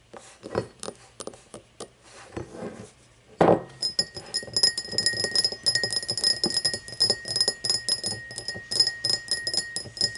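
An empty cut-crystal glass tumbler is handled with soft clicks and scrapes, then set upright with a solid knock. It is then tapped rapidly with long painted fingernails, giving bright glassy clinks over a steady, thin ring near 1.9 kHz.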